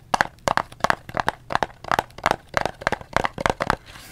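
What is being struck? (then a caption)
Small thin cardboard box with a soap bar inside. A small printed Dove soap box made of thin cardboard, hollow with the soap bar inside, is held in both hands and tapped rapidly with the fingertips and nails. The result is a steady run of dry, crisp taps in quick pairs and clusters, with a hollow papery knock around 800 Hz. Each tap dies away almost instantly, and the clip ends in a faint soft hiss.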